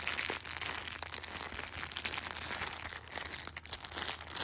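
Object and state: Plastic-wrapped tissue pack.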